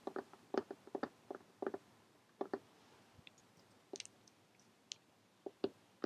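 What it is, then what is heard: Cloth hardcover notebook. Long painted fingernails of both hands tap rapidly on a closed lime green cloth hardcover notebook lying flat. Short, dry clicking taps come in quick uneven clusters, with a hollow mid-range tone and a few brighter, sharper clicks later on. Each tap dies away almost instantly against a quiet background.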